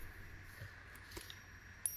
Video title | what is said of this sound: Commande Test - 20 Francs Coq chez "Or et change" | ça sonne bien comme de l'or